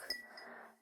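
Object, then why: Glass drinking glass. Fingernails gently tap a hand-blown drinking glass. This gives a light, bright glass clink with a brief ringing tone near 2 kHz that quickly fades.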